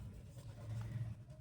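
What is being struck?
Nothing is struck.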